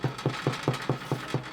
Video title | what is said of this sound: Gorgous Rye Loaves | you flip it over it sounds Hollow it's done